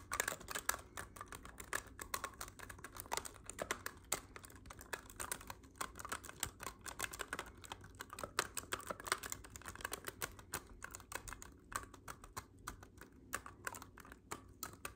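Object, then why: Clarinet with metal keys. Fingertips with short nails repeatedly press and tap the silver metal keys and rings of a black clarinet held upright. The result is a steady stream of quick, dry clicks and taps with a bright edge, each dying away almost instantly over a faint low hum.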